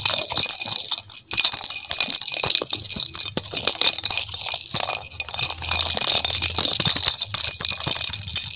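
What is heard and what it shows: A hand-sized, hollow pink and yellow plastic ball with cut-out holes and a rattle inside is shaken and turned in both hands. It makes a dense, bright, continuous rattle with almost no low end and a brief lull around the one-second mark.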